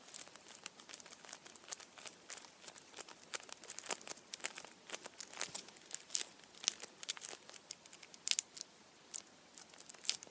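Fingertips pinch and rub the blue aluminium foil around the head of a hand-sized, foil-wrapped Kinder chocolate Easter bunny. The result is a steady run of quiet, dense, bright crinkles and sharp crackles with almost no low end.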